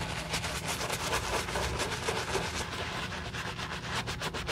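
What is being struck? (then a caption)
Leather sneaker scrubbed with a bristle brush. A wooden-handled dark bristle brush, held in a gloved hand, scrubs the wet leather upper of a hollow white leather Saint Laurent low-top sneaker with a foamy upper. The clip is a steady, rhythmic wet scratching and rubbing, about four strokes per second, with bright bristle hiss over a low rumble.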